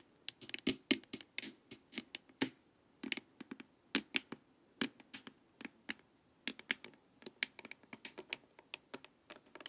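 Long nails tap and scratch along the edges and forehead of a hollow, hard plastic LED face mask. The result is an irregular run of sharp, dry clicks with no ring, interspersed with brief scratchy rasps that reach into the bright high range.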